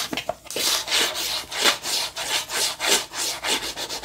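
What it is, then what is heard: Cardboard box scratched with nails. Long nails scratch the sides and top of a small rectangular white cardboard box held in the hands. About eleven rough, rasping strokes follow one another in an uneven rhythm, each a bright, hissy burst with almost no low end.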